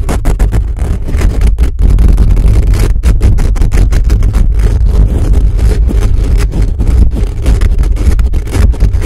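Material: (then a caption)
Metal mesh. The fingertips and nails of both hands rapidly scratch a hollow metal mesh microphone grille. This produces a loud, continuous, dense scratching rumble that is heavily boomy and low-pitched, with brief dips between strokes and almost no high end.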